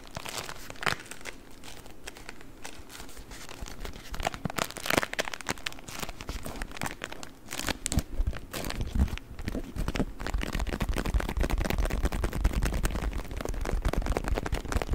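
A rolled beeswax-coated cotton wrap is squeezed and crinkled with the fingers and nails, giving dense, irregular crinkling and crackling with sharp, bright snaps. A low rumble underneath grows heavier in the second half as the handling gets busier and louder.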